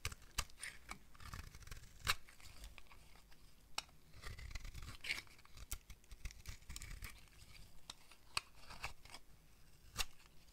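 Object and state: Dry soap bar being shaved.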